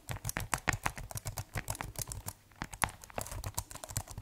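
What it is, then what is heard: Plastic keyboard being typed on. Fingertips type on the keys of a keyboard with a white plastic case, making a quick, uneven run of short clicky taps. Each tap has a soft low thump under a bright plastic clack and dies away almost at once. The typing pauses briefly just past the middle, then carries on at the same pace.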